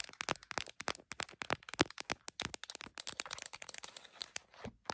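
An iPhone in a printed plastic case, mounted on a tripod, is tapped with long nails on the case and then with fingertips around its edges. The result is a fast, irregular stream of short, dry, crisp clicks and taps with bright, high content and little low end. Each tap dies away almost instantly.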